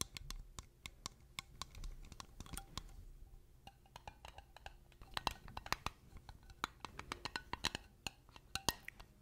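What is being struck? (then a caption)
Glass mason jar with metal screw lid. A small, clear, empty glass mason jar with a silver metal screw lid is held in both hands and tapped and scratched with long painted nails. The result is a rapid run of sharp, bright clicks and clinks, interspersed with soft scratching.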